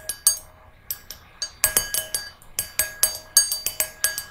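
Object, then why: Small brass singing bowl. Long nails tap the rim and inside of a small, hollow, empty brass singing bowl resting on a red cushion. About seventeen quick, bright metallic clinks fall in an uneven rhythm, each with a sharp high attack. A faint steady ring hums beneath them.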